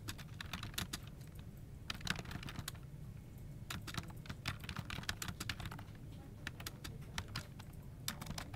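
Both hands type continuously with short-nailed fingertips on a full-size dark plastic office keyboard with a hollow body, resting on a desk. Quick, bright key clicks and taps tick out in irregular bursts over a steady low hum, each click dying away almost instantly.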